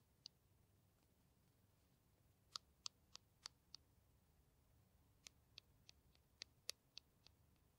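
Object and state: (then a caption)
Plastic hand cream tube tapped with nails. Long nails tap and scratch a small green plastic hand cream tube held in the hands, making 13 quick, bright, high clicks with almost no ring. The clicks come as one lone tap, a run of five, then a run of seven, against a quiet, steady background hush.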